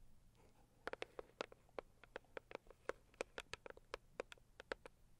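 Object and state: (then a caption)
Cardboard gift box. Long purple acrylic nails tap and scratch the lid of a medium-size, hollow, pink floral Saviland rigid cardboard gift box. After a soft scratchy start, about two dozen quick, dry clicks ring out with a hollow tone around 500 Hz and a bright edge. Each tap dies away almost instantly, leaving a quiet backdrop.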